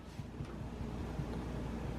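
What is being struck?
Nothing is struck.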